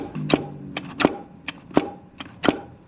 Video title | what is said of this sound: BUILDING A 1000HP TH400 PART3 - DIRECT & FORWARD DRUMS + OIL PUMP | that's the sound of metal on metal. If you hear like a dull thud, you know it's hitting on one of the clutches and it's not fully seated.